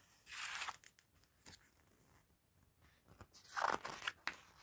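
A gloved hand quickly lifts and flips the thin pages of an open glossy paper magazine. Crisp, bright crinkling swells from the turning pages, sitting between sharp papery snaps, with quiet gaps in between.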